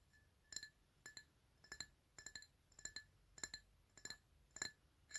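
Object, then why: Glass tumbler. A black PlayStation drinking glass, held on its side, hollow and empty, is tapped on its upper side with fingernails. Quick clusters of two or three light taps repeat about every half second, each giving a bright, high glassy clink with ringing tones near 2 kHz that fade almost at once.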